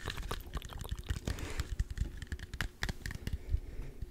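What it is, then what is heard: Green apple tapped and scratched. A small, solid, whole green apple held in one hand close to the microphone is tapped and scratched with fingertips and short nails. The result is a quick, irregular run of soft, dull, low thumps mixed with brief, bright, scratchy clicks and crinkly rubbing. Each tap dies away almost instantly.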